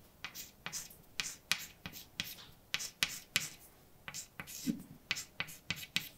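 A hand writes letters with white chalk on a large, dark, flat chalkboard, producing a quick series of sharp taps and short, bright scrapes as the chalk strikes and drags across the solid surface. Each stroke is crisp and high-pitched, with little low end, and dies away almost instantly between marks.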